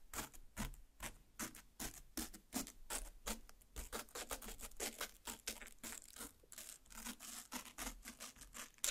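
Long curved black nails dig into and scratch the torn red flesh of a large cut watermelon half. The result is a quick, steady run of short, bright, crackly scrapes and soft wet taps, each dying away almost at once, with a slightly louder scratch at the very end.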